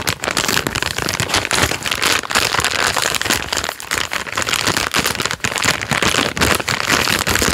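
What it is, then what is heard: Full plastic-wrapped biscuit packet. A full plastic-film biscuit packet is crinkled, squeezed and rubbed with fingertips, making a dense, bright, crackling rustle. The sharp crinkles come in rapid bursts with little low end, and the sound holds steady for the whole length.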